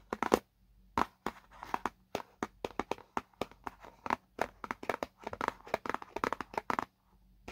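Fingertips and nails of both hands scratch and tap the same white side of a small, hollow paperboard product box. About thirty dry, sharp taps and short scratchy strokes come in quick bursts with brief quiet gaps. The sound is light and papery, centered in the midrange, and each hit dies away almost at once with little low end.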